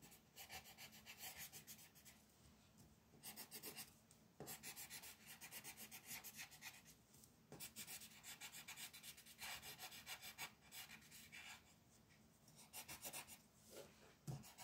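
A yellow wooden colored pencil shades the outer edge of a flat white paper mandala coloring page lying on a table, using quick back-and-forth rubbing strokes. The sound is a dry, bright scratching that comes in bursts of rapid strokes, separated by short quiet pauses, with a faint low hum underneath.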